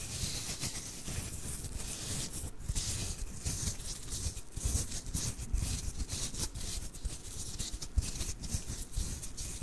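Fingertips lightly rub and scratch a small, soft plush snowman of fuzzy fabric held in both hands right next to the microphone. A steady, soft scratchy rustle continues throughout, with a low muffled rumble underneath and bright, airy hiss on top. Brief louder scrapes pop out now and then.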